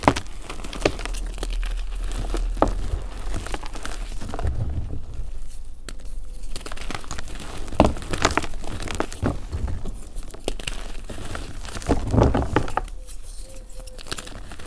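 Fingertips squeeze and break pieces off a solid, crumbly pink mudpie of dried gym chalk and cornstarch, and the powder falls back into the pile. The result is a steady run of dry crunching and crumbling crackles with short, quickly damped snaps over a dull low rumble, with several louder cracks where bigger pieces give way.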